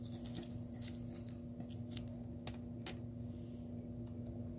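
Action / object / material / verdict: tap / plastic computer keyboard / plastic / none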